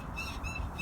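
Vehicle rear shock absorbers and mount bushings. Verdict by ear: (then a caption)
Worn. The rear of a vehicle is rocked up and down, and its blown rear shock absorbers and worn shock absorber mount bushings squeak with each push. Repeated chirpy squeaks with bright, high harmonics sit over a low rumble of the body moving, something like a rocking bed.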